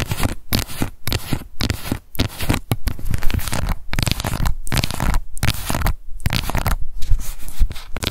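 Long nails scratch and tap a small, round, pink plastic cushion foundation compact with a hollow case, working over its lid and the label on its base. The result is a busy, continuous stream of dry scratching broken by short, dull tapping knocks that die away almost instantly, with most of the sound sitting low and little brightness on top.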